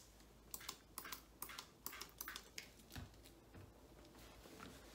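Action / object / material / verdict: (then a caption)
scrape / rubber treadmill belt wiped with a cloth / rubber / none. A gloved hand rubs and wipes a blue microfiber cloth back and forth across a black rubber treadmill belt bearing a red Sunny logo. Quick, bright swishing strokes come in short bursts over a faint low background hum, growing softer and less distinct toward the end.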